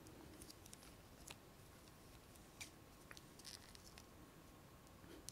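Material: Plastic.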